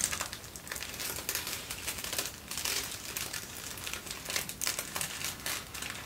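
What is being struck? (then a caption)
Thin tissue paper. Folded thin white tissue paper is held close and crinkled and rubbed with the fingertips. The result is a dense, continuous crackling rustle, bright and papery with little low end, rising and falling in soft bursts.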